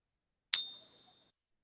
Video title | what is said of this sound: I was doing a live stream and then this happened. | that rings a long time